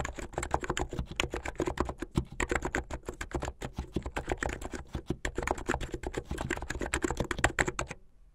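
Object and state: Plastic mechanical keyboard.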